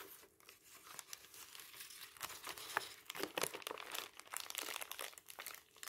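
Fingertips lift, fold and rub a large, thin, white crinkled tissue paper sheet over a stack of magazines. The result is a quiet, continuous stream of dry, papery crinkles and soft rustles, concentrated in the bright upper range with almost no low end, swelling and fading as the sheet is handled.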